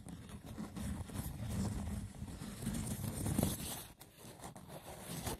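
Fingertips scratch the textured lid of a hollow, braided woven seagrass wicker box, making a steady, rough, dry scratching. The sound is full and low with a hollow body, swelling and easing in uneven strokes.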